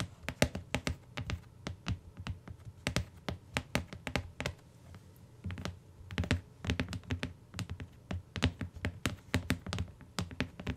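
Long nails on both hands tap the cardboard cover and bottom edge of a closed tan hardcover book lying on a fur rug. Dozens of quick, dry taps, each a dull low thud with a bright clicky edge, come in uneven bursts with a short lull near the middle. Each tap dies out almost at once.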